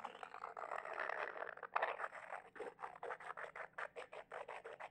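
A small white glossy glazed ceramic figurine with two rounded bulbous sections, likely hollow, is held between both hands and rubbed and scratched with fingertips and medium-length manicured nails. A dense, steady midrange scraping comes first, then gives way to about a dozen quick, separate scratch strokes, each with a faint bright edge. The strokes stop short with almost no ring.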